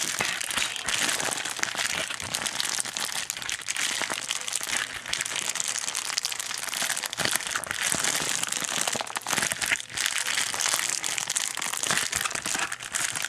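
A flexible pink metallic foil bubble mailer is held in both hands and squeezed and crumpled with the fingers and thumbs. The result is a steady, dense crinkling and crackling that is bright and high, with almost no low end, for about 13 seconds.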